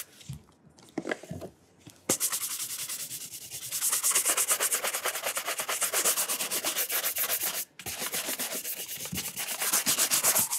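A burgundy leather dress shoe with a studded rubber sole is held up in hand while its upper is brushed repeatedly with a wooden-backed horsehair brush. After a few soft, scattered rubs, rapid back-and-forth bristle strokes begin, making a steady, bright, hissy swish with a rhythmic pulse. They pause briefly near the end, then resume.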